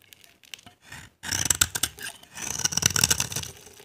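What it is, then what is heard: Dry glycerin soap bar being scraped. A utility knife blade scrapes a solid, translucent, dry orange glycerin soap bar held in the hand, shaving off dry flakes. Faint scratches open the clip, then two longer bursts of bright, crackly scraping follow, dominated by high hiss with little low end.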